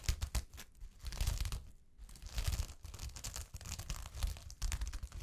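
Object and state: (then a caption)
Sequin fabric scratched with fingernails. Long fingernails scratch and brush against the grain of a sheet of fabric covered with small gold sequins. The result is bursts of dry, crinkly, tearing-like rasping that speed up and slow down, with bright sparkle on top, soft low thuds underneath, and brief quiet gaps between strokes.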